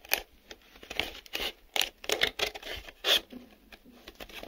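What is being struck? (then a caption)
Small printed cardboard box. Fingernails scratch and tap the inside and outside walls of a small, empty, hollow printed cardboard box with a brown corrugated interior and glossy printed exterior. The result is a series of dry, bright scratching and tapping bursts with almost no low end. Each burst dies away quickly into quiet gaps.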